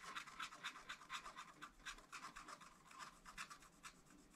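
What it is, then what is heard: Scratch-art paper being scratched. A wooden stylus scratches a black coated scratch-art paper page in a spiral pad, tracing over strawberry outlines in steady strokes. The result is a quiet, dry, raspy scratching that pulses about twice a second, with bright, papery energy and almost no low end.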